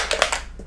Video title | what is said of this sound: Mesmerizing Marble Ink Art: Mixed Media Magic | shake it up till I hear the ball till I hear that ball knocking around inside there